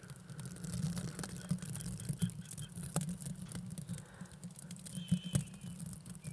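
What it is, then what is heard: Plastic velcro hair rollers, scratched. Two small, hollow blue plastic mesh velcro hair rollers, held at both sides of the microphone, are rubbed and scratched with fingers and long nails. The result is a steady, soft low rustling hum with dense scratchy crackle, broken by quick, bright ticks and a few louder scrapes near the end.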